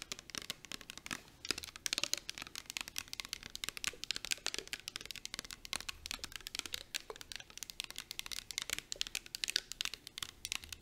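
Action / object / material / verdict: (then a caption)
tap / plastic spray bottle with liquid / plastic / none. Long acrylic nails fast-tap a clear plastic coconut and rose body mist bottle, filled with liquid and held in both hands. The result is a dense, continuous stream of sharp, dry clicks that sound bright and crinkly, with almost no low end and no ring after each tap.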